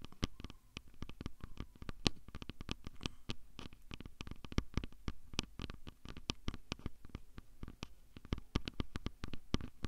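Fingertips and nails tap and scratch directly on the body of a handheld plastic Tascam audio recorder with built-in microphones. The result is a quick, dense run of sharp, dry clicks and scrapes that die away almost instantly, with a low thump under each tap and faint bright edges on top.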